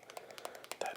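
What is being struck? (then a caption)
Leather-covered phone case. Tapping on a phone held in a leather Apple case that is over a year old, with the leather wearing off in one spot. A quick, uneven series of light, dry taps sounds with a mid-range knock and a bright edge, no low end, and short decays. The last taps are the loudest.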